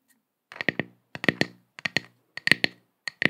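Long acrylic nails scratch and tap a round, flat, solid wooden log slice coaster with visible growth rings and a bark edge, held in both hands close to the microphone. Five quick bursts of crisp, clicky strokes come out, each with a short, bright resonant ring around 2 kHz. The strokes are close and dry, separated by silence.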